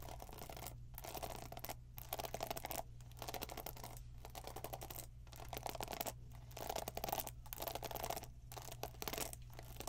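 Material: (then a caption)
Plastic. Long nails scratch along the plastic pin bristles of a black plastic paddle hairbrush held in hand and tap its plastic body. The result is a dense, bright, crackly scratching that breaks off in short gaps roughly every second, over a steady low hum.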